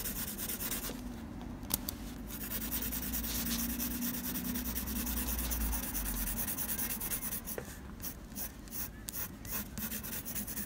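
A blue mechanical pencil tip scratches curved graphite hatching strokes across a flat sheet of textured drawing paper. The result is a steady, dry scratching rasp in quick repeated strokes over a low, constant hum, with a few sharper ticks near the start and toward the end.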